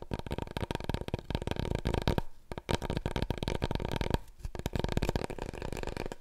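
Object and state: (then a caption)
Cardboard tube tapped and scratched. Long nails rapidly tap and scratch the surface of a large, long, hollow, empty brown cardboard paper roll core held upright in both hands. The result is a dense flurry of dry, hollow taps with a low, boomy body, broken by two brief lulls before the tapping resumes.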